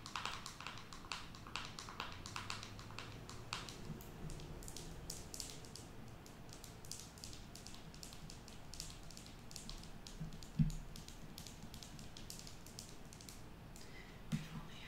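Long nails tap rapidly and lightly on the lid and sides of a small, round, hollow black plastic cosmetic jar held in the hands, making a steady stream of quiet, crisp clicks. Two louder, duller knocks stand out near the end.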